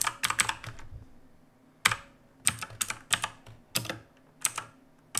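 Fingertips of both hands type steadily on a full-size black backlit mechanical keyboard with plastic keycaps resting on a wooden desk. Sharp, bright clacks come in quick clusters separated by short pauses, each dying away almost instantly.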